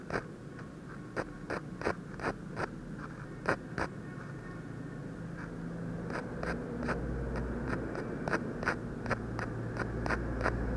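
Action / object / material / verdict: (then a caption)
scrape / ballpoint pen tip on a thin paper sheet / paper / none. The metal tip of a ballpoint pen makes short hatching strokes on a thin white paper sheet lying flat, with a half-drawn eye on it. About eighteen quick, dry scratch-taps are heard with bright clicky edges at an uneven pace. A low steady hum grows louder underneath from midway on.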